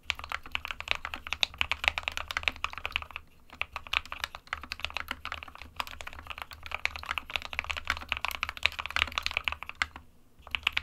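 Fingertips of both hands type continuously on an SK61, a small 60% mechanical keyboard with a plastic case and plastic keycaps, hollow with switches inside. A dense stream of quick, bright, clacky keystrokes with no ring, over a faint low hum, pauses briefly around 3 and 10 seconds before resuming.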